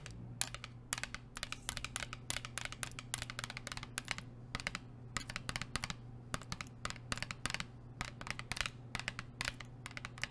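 Long nails tap rapidly on a hollow blue plastic sports water bottle, producing a dense run of short, bright, clicky taps with almost no ring. A steady low hum runs underneath the whole time.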